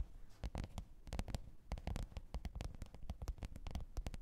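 Long pointed nails tap and scratch the top of a black, textured faux-leather hard-shell microphone case with a zipper, lying flat on fur. Quiet, rapid, irregular taps come as dull low thuds with crisp clicking edges, interspersed with soft scratching. Each tap dies away almost instantly.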